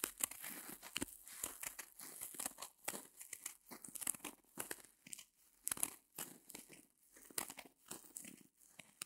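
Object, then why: Small porous foam block. Long nails scratch and squeeze the sparkly, porous surface of a small white solid reticulated foam block, close up. The result is a rapid series of dry, crackling, tearing crinkles. The sound is bright and mostly high with almost no low end, and comes in uneven bursts with short quiet gaps.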